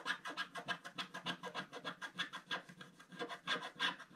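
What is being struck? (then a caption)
Coated scratch-art paper scratched with a wooden stylus. A wooden stylus scratches dense strokes across a flat scratch-art paper page in a book resting flat, removing stripes of black coating to reveal the gold foil beneath. The result is a steady, bright, raspy scratching in rapid repeated strokes, about three per second, each dry and short with no ring.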